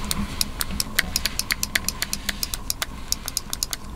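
Long nails tap and scratch the glossy plastic shell and aluminum underside of a small white Apple Magic Mouse held in both hands. About 25 quick, sharp, bright clicks sound in an uneven rhythm, each dying away almost instantly. Under them run a faint steady mid tone and a low rumble.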